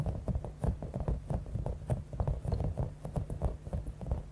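Long acrylic nails rapidly tap and scratch a palm-sized, clear, soft rubber stress ball with a spiky top, filled with small beads. The sound is a quick run of soft, dull, low patters with faint crinkly bead rustle and almost no ring.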